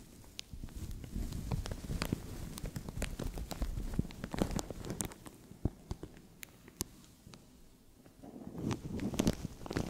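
Fingernails scratch and fingers pinch and crinkle a translucent thin plastic bag stretched over a microphone. The result is a close, rustling mix of crackles and sharp bright snaps over a dense low handling rumble. The sound eases off in the middle and builds back up toward the end.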